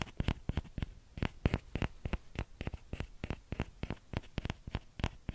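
Short nails and fingertips tap the hollow bowl of a small orange plastic ladle, producing about 28 quick, dry, irregular clicks. Each tap is brief with almost no ring, carrying a soft low thump under faint bright edges.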